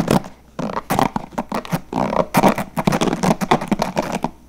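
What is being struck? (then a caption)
Plastic paddle hairbrush with plastic bristles. Fingertips strum and flick the white plastic bristles of a handheld blue translucent plastic paddle hairbrush with a hollow body. The result is a fast, uneven run of short, crackly bursts with a low body around 200 Hz and a bright, scratchy edge. Each burst stops almost at once, with brief gaps between them.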